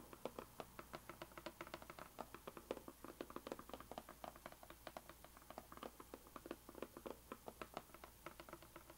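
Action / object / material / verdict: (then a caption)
tap / rigid cardboard box tapped with fingernails / cardboard / none. Long green-painted nails tap on the sides and top edges of a small, closed, white rigid cardboard gift box with a printed puzzle label, held flat on a table. A quick, uneven stream of light, dry taps follows, each short and hollow with a mid-range knock around 500 Hz and almost no ring. The tapping is quiet and continuous throughout.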